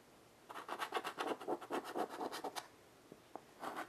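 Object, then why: Chalk on a wood-framed chalkboard. A child's hand draws with white chalk on a small wood-framed chalkboard lying flat on carpet. A quick, uneven run of dry, scratchy strokes lasts about two seconds, then two faint ticks break a short pause before a final burst of scratching.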